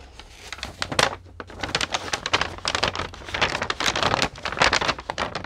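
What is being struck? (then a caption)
Thin paper sheet. A single large sheet of thin white paper with pink paint blotches, held in both hands with long nails, is bent, crinkled and shaken. The result is a continuous run of dry, bright crackling and rustling with sharp crinkle bursts that rise and fall without pause.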